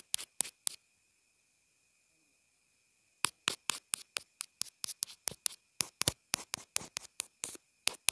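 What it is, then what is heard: Plastic earphone inline remote. The graphite tip of a wooden pencil taps and scratches on the small, white, hollow plastic inline remote and mic of wired earphones, which is taped down on a cloth surface. There are three sharp, bright taps, a pause of about two and a half seconds, and then a rapid run of crisp clicks, 24 hits in all, each dying away almost at once. A faint steady high tone sits underneath throughout.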